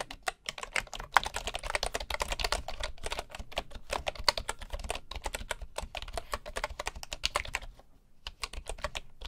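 Fingertips of both hands type rapidly on a bamboo wooden keyboard, producing a dense stream of short, dry clicks with a bright edge and a soft low thump beneath. The typing runs steadily with brief pauses, including a near-silent gap just before the end.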